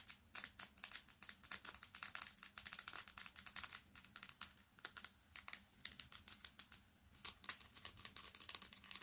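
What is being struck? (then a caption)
Smartphone with metal back and glass screen. A smartphone with a metal back and glass screen is held upright and then flat while long fingernails tap fast on the glass screen and body. The result is a quiet, rapid run of dozens of bright, crisp clicks, each dying away almost instantly, with very little low end.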